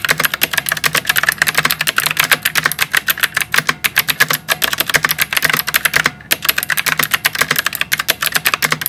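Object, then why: Plastic mechanical keyboard with round typewriter-style keycaps. Both hands type steadily with their fingertips on a white plastic mechanical keyboard with round typewriter-style keycaps. The result is a fast, continuous stream of crisp, bright clicks that decay quickly. There is one brief pause just after the six-second mark.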